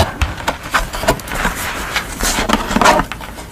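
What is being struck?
Thin construction paper card.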